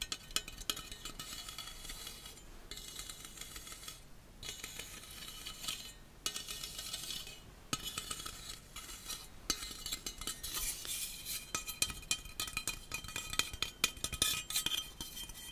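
A small, hollow stainless steel slotted coffee accessory is held in both hands and tapped and rubbed with fingertips and nails. It gives quick, bright metallic clinks and scratchy rubbing that ring out almost instantly, with a few brief pauses between bursts.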